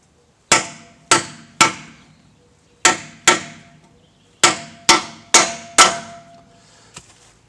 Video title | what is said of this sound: chevy tahoe differential carrier bearing replacement full detail 6.8 | until you hear a hollow sound then you're good to go